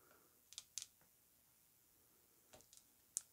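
Long nails tap a thick, square Narco Oasis glass perfume bottle with a gold cap, filled with perfume, as it is held and tilted. Quiet, bright, high-pitched clicks come in quick pairs, separated by a pause, and end with one sharper tap. Each tick dies almost instantly, with no low body or ring.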